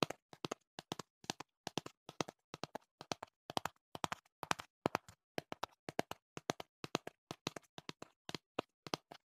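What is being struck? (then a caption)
Cardboard box. Fingertips tap the back panel of a hollow printed cardboard box held to the right of the microphone. Short, dry, hollow taps with a low-mid body come in quick bursts of two to four, each dying away almost instantly, with brief silences between the bursts.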